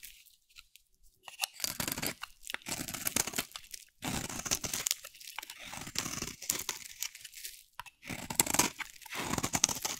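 A dry, solid oval pink soap bar with a teal rim, held in hand, is shaved with a metal utility blade. Repeated crunchy, bright scraping strokes come in bursts, with short quiet gaps between them.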